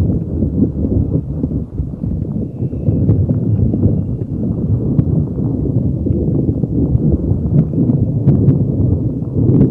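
A neon green soft rubber spiky puffer ball is held over a microphone and rubbed and squeezed with fingers, making a continuous dense, muffled rumble. The sound is mostly low and boomy, with rapid soft bumps and occasional faint higher squeaky ticks.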